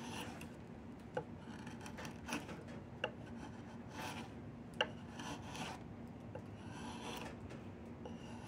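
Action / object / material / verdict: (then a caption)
scrape / willow wood walking stick / willow wood / none. A wood-handled chisel, held in both hands, scrapes and carves along the surface of a long, solid diamond willow branch being made into a walking stick. A steady, quiet rasping scrape runs throughout, broken by several short, sharp clicks where the blade catches the wood.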